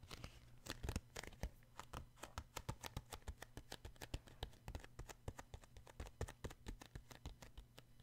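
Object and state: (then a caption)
Paperback book. Fingertips tap the glossy card front cover of a paperback book held upright, making a fast, uneven run of short, dry taps with crisp, bright clicks. Each tap dies away almost instantly over a steady low hum.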